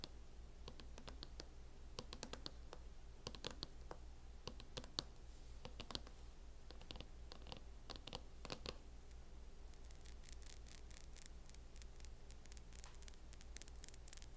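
Long painted acrylic nails on both hands tap and lightly scratch a mint-green matte plastic snap-on hard cover on a closed MacBook lying flat on a wooden table; the thin, hollow shell sits over the solid device. Quick, bright clicking taps come in irregular clusters with soft scratchy strokes between them, over a steady low hum. The taps grow denser toward the end, with the hands raised above the cover between taps.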